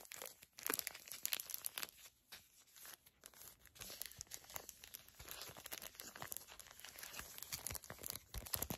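A small, flat, filled Garnier Fructis hair mask sachet made of foil/plastic laminate is crinkled and bent between both hands with long nails. The result is a steady run of quiet, crisp crackles and tearing-like crinkles, mostly bright with little low end, each snap dying away almost at once.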